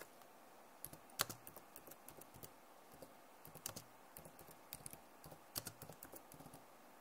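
Fingertips slowly press the keys of a backlit plastic laptop keyboard, including the arrow keys. Soft, short plastic clicks and taps come at an uneven pace, each bright and dry with almost no ring, over a quiet background hiss.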